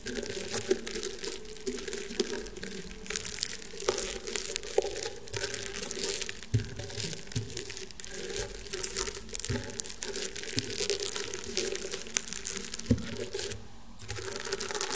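Fingernails scratch and press across the weave of a flat, round woven rattan table mat. The result is a steady, dense stream of dry, bright crackling and crinkling scratches with soft low thumps underneath, easing briefly near the end before resuming.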